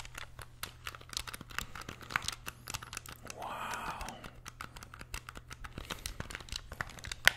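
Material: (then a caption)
Plastic. A small, hollow, grey plastic wired SNES-style game controller is held in both hands while its buttons are pressed and clicked with the thumbs and fingertips. Quick, sharp plastic clicks and taps keep coming over a faint low hum, with a brief soft rustling, scraping burst in the middle. A brighter, louder click stands out near the end.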